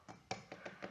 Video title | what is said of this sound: 🤩Секрет пузатых буханок: как избежать опадания хлеба😨 после посадки в духовку? | Wenn Sie klopfen, so ein dumpfer Klang, ist es offensichtlich, dass der Teig sehr porös und alles sehr locker ist.